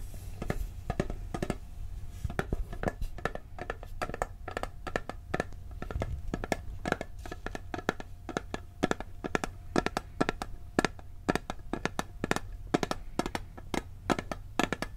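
A round, blue, printed tinplate cookie tin about 20 cm wide, hollow with its lid on, is held in the hands and tapped on the lid with fingernails and fingertips. It gives dozens of quick, dry, clicky taps at an uneven pace, each dying away almost instantly over a low, steady hum.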